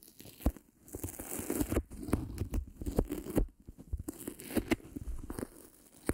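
A thin, flat, white self-adhesive felt sheet about the size of a palm is held up uncovered in both hands while long pink-painted nails and fingertips rub, scratch and crinkle it, pulling it and partly splitting it apart. The result is a dense run of sticky tearing, crackling and crinkling sounds, full of short sharp snaps over a soft, low rustle that swells and fades throughout.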